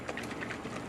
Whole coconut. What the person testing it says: When I shake it hear the water splashing around.